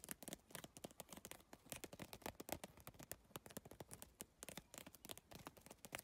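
Long nails tap fast across the iridescent triangular plastic tiles of a holographic geometric PVC tile bag. The result is a rapid, uneven stream of short, dry, bright clicks that die away almost at once, with a faint crackly texture between them.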